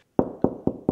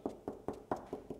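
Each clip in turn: First: Four evenly spaced knuckle taps give a dull, low-mid boomy knock: hollow plasterboard with an air gap behind. Second: Six short, dull knuckle taps in the mid range, dying almost at once: a solid spot on plasterboard.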